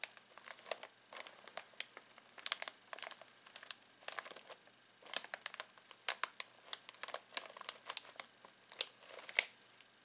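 Fingertips scratch and squeeze a full foil-plastic snack bag of pistachios, making a steady run of sharp, dry crinkles. Each crackle is brief and bright, with almost no low end, as the plastic is rubbed and pressed over and over.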